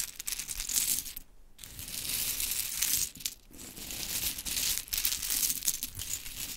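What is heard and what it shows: Long chrome nails scratch a pile of small, solid pink wooden mini clothespins, then hands scoop the pile so the pieces clatter against each other. The sound is a bright, dense, high-pitched rattling and scraping with very little low end, briefly dropping to near silence around 1.3 and 3.3 seconds before the clattering resumes.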